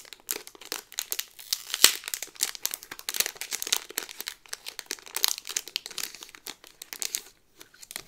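Fingers and nails crinkle the clear plastic bag holding a Thunder Mountain pin on a green-yellow cardboard card, and the card is flipped over. The result is a steady stream of bright, dry plastic crackles in quick short bursts with no low end, with one sharper, louder snap early on and brief pauses near the end.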